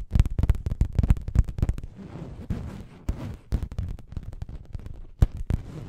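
Long nails scratch and tap an orange printed fabric cushion held up close to the mic. Rapid, irregular bursts of dull, bassy thumps alternate with softer scratchy rustling of the fabric, and a few louder, sharper taps stand out near the end.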